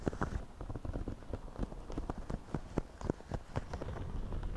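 Fingertips of both hands scratch and rub the crown of a white, wide-brim woven straw floppy hat worn on the head. The result is a dense, uneven stream of quick, dry scratches and soft taps with a low, muffled body and little brightness, each crackle dying away almost instantly.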